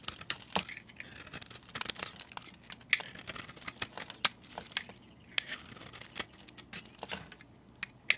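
A metal utility blade carves and scrapes crumbly orange shavings from a solid, hand-sized oval soap bar that is teal outside and orange inside. Quick, dry, crisp scraping and crackling cuts come in an irregular series, bright and mostly high with almost no low end. Each cut dies away almost instantly.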